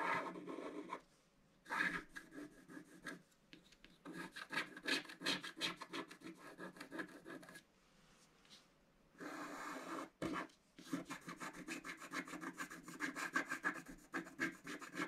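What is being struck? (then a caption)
Scratch-art paper card and wooden stylus. A wooden stylus scratches the centre of a mandala on a black coated scratch-art card in a book. Bursts of quick, dry, raspy scratching strokes with a bright edge are separated by short quiet pauses.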